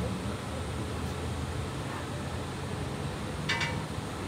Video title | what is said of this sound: Glass bowl making #Seattle #Chihuly #glass #blowing #glass #bowl #making | sounds like glass so that tells me it's ready it's cold enough